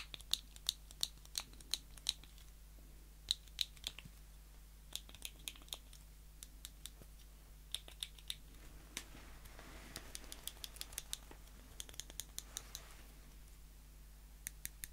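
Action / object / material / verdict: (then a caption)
tap / small steel tweezers / steel / none. Small solid stainless steel metal tweezers, held in the fist and then between the fingertips, have their tips snapped and clicked together. The result is quick, bright, irregular metallic clicks with almost no ring, some with a faint high tonal ping, over a quiet low hum.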